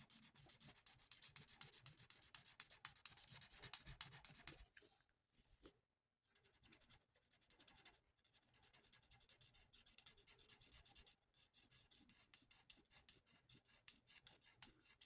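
A plastic alcohol marker's felt nib is rubbed in rapid back-and-forth strokes across a thin, flat sheet of printed paper resting on a table as it is coloured in. The result is a quiet, bright, scratchy rasp, about four strokes per second, with brief pauses around the five-to-six-second mark and again near eleven seconds.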